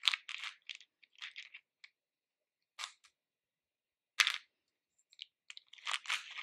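Fingers with grey painted nails rummage and stir through capsule-shaped red, orange and yellow hard-shelled candies in a pink plastic bowl. The candies give off irregular bursts of bright, crisp clicking and rattling, separated by short silences, with almost no low end. Activity picks up again toward the end into a denser clatter.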